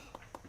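A crisp whole wheat lavash tortilla bowl, pressed into a metal nonstick bowl mold and baked in the oven the night before, is tapped twice to show how crispy it is. Each tap is a short, dry click with a hollow tone near 900 Hz that fades almost instantly. The bowl is crispy and firm enough to hold a sloppy joe filling.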